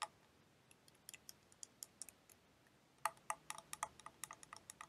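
Long painted nails tap on a clear plastic liquid motion timer toy filled with blue liquid while it is turned in the hands. About 23 light, dry, bright clicks with almost no ring come sparse and soft at first, then grow louder and quicker in the second half.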